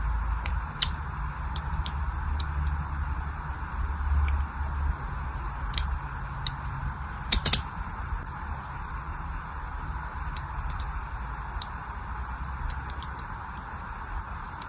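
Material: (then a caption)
Soap. A solid pink glycerin soap bar is held in the hand while a small blade scores dense parallel grooves into it. Faint, bright scratching clicks are scattered over a steady low rumble and hiss, with a pair of sharper snaps about halfway through.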